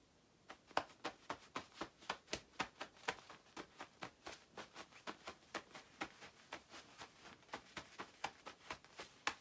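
Long white nails on two hands scratch the padded back of a glossy black nylon down jacket worn by someone lying on a bed. About 27 quick, crisp scratching strokes follow one another at a steady rhythm, each a short bright rasp that dies away almost at once. The strokes stay quiet over a soft, near-silent background.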